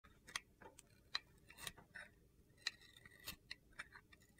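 A utility knife blade shaves thin orange curls off a solid rectangular bar of soap with gold glitter, held in one hand with long red nails. Quiet, irregularly spaced, crisp scraping clicks are heard, sharp and bright with very little low end. Each one cuts off almost instantly.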